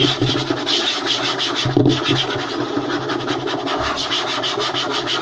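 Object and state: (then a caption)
Wooden tabletop. Both hands quickly scratch and tap a large, flat, light-colored solid wooden tabletop made of butcher-block style strips, using fingertips and short nails. A dense, continuous bright rasping scratch runs throughout, with rapid soft taps and a few slightly louder knocks mixed in. The sound stays at a steady, busy level with no pauses.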